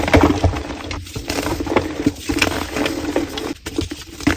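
Orange-gloved fingers squeeze and crush a palm-sized piece of solid, powdery black-dyed gym chalk block (calcium carbonate). A steady run of dense, crunchy crackling comes with sharper snapping bursts throughout. The piece crumbles into chunks and dust.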